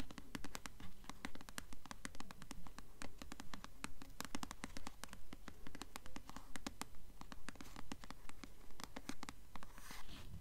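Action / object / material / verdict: scrape / paperback book with glossy paper cover / paper / none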